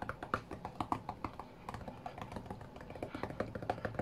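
Fingertips tap rapidly on the glass touchscreen of a flat white iPad, likely while playing a rhythm game. The result is a quiet, steady stream of short, dry, mid-toned taps with almost no ring, sounding much like light typing.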